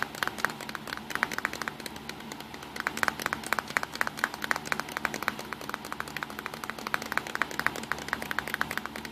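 Fingertips tap on the side and front of a small, hollow, black plastic Nikon compact digital camera resting on a pink towel. The result is a rapid, uneven series of short, dry plastic clicks, each centered around 1.7 kHz with a little bright edge and almost no ring. The clicks pause briefly around the two-second mark before continuing over a faint, steady low hum.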